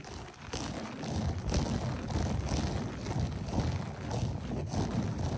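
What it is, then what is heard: Loop-pile carpet being scratched. Fingertips and short nails of both hands scratch and rake a beige berber loop-pile carpet, staying on the same area. The sound is a continuous low, dull rustling scrape with soft swells of brighter grit as the strokes repeat.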